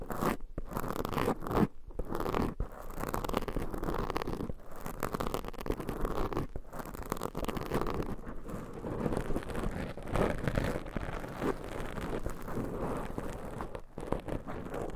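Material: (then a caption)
Foam. Long nails scratch and grip two black foam microphone covers, making a dense, continuous scratchy rustle with a few brief pauses. The sound is soft, muffled and heavy in the low end, with almost no bright highs.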